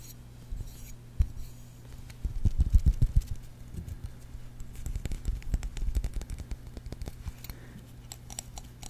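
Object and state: Plastic-handled silicone basting brush.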